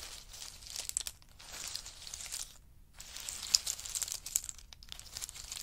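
Two wooden spoons scoop and stir a pile of in-shell pistachio nuts, their hard shells rattling and clicking against each other. The sound is a bright, dense crinkling crunch with sharp little ticks, pausing briefly near the middle before the stirring resumes.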